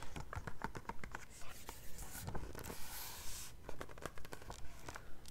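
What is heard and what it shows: Long red-painted nails and fingertips grip, flip and rub the glossy printed pages of a large softcover-style national parks photo book held open. Quick, fairly regular nail taps and crinkles are broken by a longer, bright rustling swish as a page turns over.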